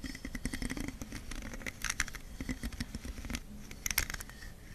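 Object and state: Plastic hairbrush bristles scratched.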